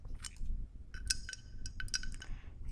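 Fingernails tap a glass mosaic candle holder, producing a series of bright, short clinks with a high ringing tone over a soft low background rumble. Each tap dies away quickly.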